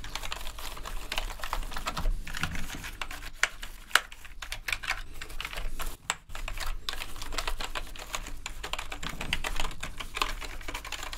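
Gloved hands brush a green toothbrush over and between the hollow plastic keycaps of a full-size black plastic gaming keyboard to clean it. A steady, dense scratching of bristles mixes with clicky rattling of loose keys, with a few sharper knocks standing out and a low, soft rumble underneath.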